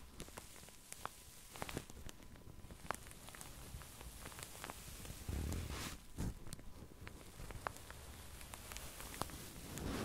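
Long nails and fingertips scratch and rub the surface of a soft, filled pink padded satin sleep mask resting on a felt mat. A steady low, soft rustle runs throughout, dotted with sharp, bright nail clicks and scrapes. A few duller, heavier rubs swell up near the middle.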